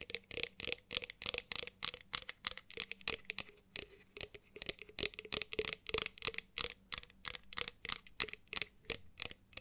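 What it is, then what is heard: Ceramic mug tapped and scratched with nails. Long pointed nails tap and scratch a hollow, empty, pale pink matte ceramic mug with a handle. Dozens of short, bright, dry scratchy taps come at an uneven pace of about three per second, with almost no ring after each stroke and a faint low tone underneath.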